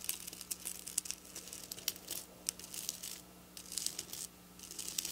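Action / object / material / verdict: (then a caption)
scrape / plastic sequin fabric scratched and tapped with fingernails / plastic / none. Long black nails, tips pointed down, scratch and tap quickly across silver plastic sequin fabric. The sound is a dense run of bright, crinkly clicks and rustles with very short decays and sharp peaks, over a faint steady low hum.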